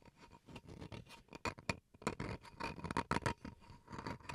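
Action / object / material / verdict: scrape / bamboo wood cutting board / bamboo wood / none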